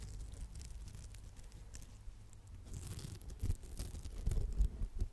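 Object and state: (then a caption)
Foam sponge scratched with nails. Long acrylic nails scratch and rub the textured face of a round, palm-sized, solid red polymer foam smiley sponge. The result is a soft, crackly scratching and rustling with a low rumbling body and faint bright flecks, growing louder with sharper scuffs toward the end.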